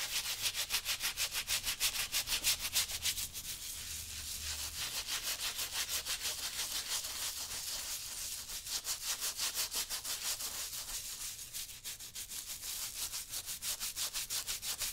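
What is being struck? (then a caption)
Wet leather work boot scrubbed with a stiff-bristle brush. A worn brown leather work boot, on a foot and with a soapy, wet toe and upper, is scrubbed with a small wooden-handled stiff-bristle brush in short strokes. Rapid, fairly steady bristly scratches, about three per second, make a bright, hissy rubbing that briefly softens midway before the quick strokes resume.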